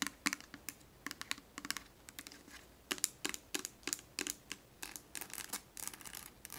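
Long acrylic nails quickly tap and scratch the label and body of a small, clear plastic Johnson's baby oil bottle, full of oil and held up close. The result is a rapid, uneven run of bright, dry clicks, like typing, mixed with soft scratchy rubbing. Each click dies away almost at once, with very little low end.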